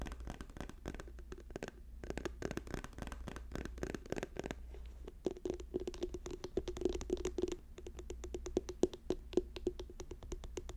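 Fingertips and nails tap quickly on an orange and white soft plastic lotion tube, hand-sized and apparently filled, held in the hands. The taps come as fast, uneven bursts of short, dry clicks with a faint mid-pitched tone, over a steady low hum.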